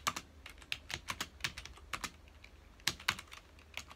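Fingertips of both hands type on a full-size black plastic computer keyboard with hollow key housings, resting on a dark desk. About eighteen quick, bright, clicky keystrokes land in irregular bursts, each dying away almost at once with very little low end.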